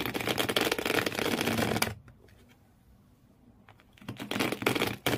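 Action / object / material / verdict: scrape / empty cardboard shoe box / cardboard / none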